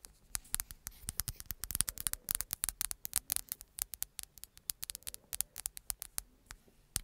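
Long nails tap and scratch the flat glass-and-plastic surface of a black smartphone held behind the mic. Dozens of crisp, bright clicks come in a quick, irregular patter, with soft scratching between them. Each click stops dead with no ring, over a faint low hum.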